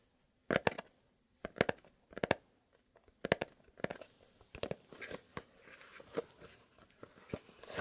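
A small, long, hollow kraft cardboard "Fox" box, first resting on a mat and then held, is tapped with fingertips and nails. Sharp, dry crunchy taps come in quick clusters that die away almost instantly, with a papery knock around 570 Hz and bright clicky edges. They start as separate bursts with silence between them and grow into a denser, continuous run of tapping.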